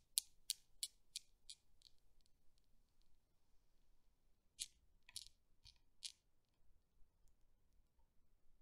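A long-nailed finger pulls back an end ball of a desktop Newton's cradle made of solid chrome steel balls and releases it, so the balls knock together repeatedly. A quick run of sharp, bright metallic clicks fades out over about two seconds, followed by a second, sparser burst of louder clicks after a quiet pause. Each click dies away almost instantly over a faint background hiss.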